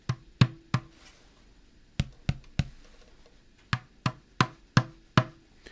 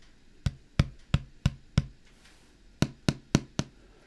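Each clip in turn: First: loudspeaker cone tapped, metal basket rings. Second: tapped woofer paper cone.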